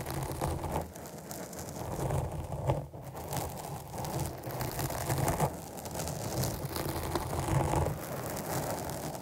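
Long nails scratch across the top and side of a black foam windscreen on a microphone. The result is a steady, muffled, rain-like rustling weighted toward the low end, rising and falling in brief louder swells.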